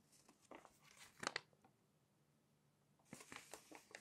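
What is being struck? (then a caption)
Glossy paper magazine page. A glossy paper magazine page is pinched and turned, then smoothed down with a flat hand and fingertips. Soft, bright crinkling and rustling rise to a sharper crackle as the page turns, followed by a near-silent pause and then a fresh run of papery crinkles as the hand presses it flat.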